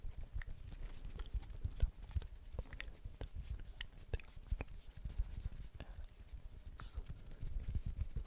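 Fingers tap repeatedly on a blue plastic ball, making a quick string of soft, hollow knocks like clip-clopping hooves. The taps are dull and low, each dying away almost at once, with occasional brighter clicks over a quiet background.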